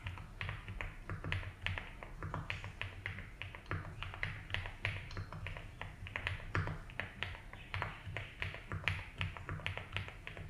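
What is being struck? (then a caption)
Mechanical keyboard with plastic keycaps. A compact 75% mechanical keyboard with a light blue case, white and blue doubleshot ABS keycaps and a polycarbonate plate sits on a grey desk mat and is typed on slowly with bare fingertips. A steady run of short, bright clacks comes through over a low hum, each stroke dying away quickly.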